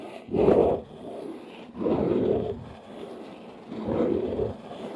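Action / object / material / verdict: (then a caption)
scrape / corrugated cardboard box / cardboard / none. Long nails scratch the top edge and front face of a large, hollow, brown corrugated cardboard box. Three separate rasping scrapes, each about half a second long, have a dull, low-mid body with little brightness. Quieter scratchy texture fills the gaps between them.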